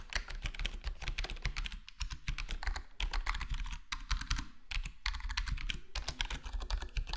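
Fingertips of both hands type steadily on a full-size black plastic HyperX Alloy Core gaming keyboard with square plastic keycaps and a foam-modded, foam-dampened case. The result is a dense, rapid stream of short, muted clacks and taps with a deep, thumpy low end and bright clicky edges that die away almost instantly.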